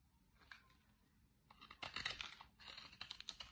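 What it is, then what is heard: Dry soap bar, scraped. A small metal blade scrapes and cuts thin flakes off the edge of a large, solid bar of dry green soap held in one hand, its corner already carved away, while shavings pile up below and an empty Fax soap box lies untouched nearby. Faint, sparse scrapes give way to denser bursts of crisp, bright, dry shaving sounds that stop short with no ring.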